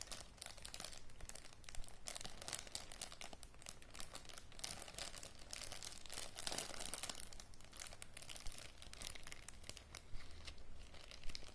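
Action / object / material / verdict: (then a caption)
scrape / small plastic zip-lock bag / plastic / none. Fingers pinch and crinkle a small clear plastic zip-lock bag with a red seal strip and green contents inside, while nails scratch across its surface. The result is steady, bright crinkling and scratching that continues throughout, over a faint low hum.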